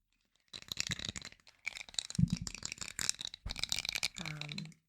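Fingertips tap and handle an unpainted, 3D-printed resin miniature of a giant, producing quick, dry, rattle-like clicks in irregular bursts. Each tap is bright and short with almost no ring, and a brief low humming tone rises under the final burst before it stops.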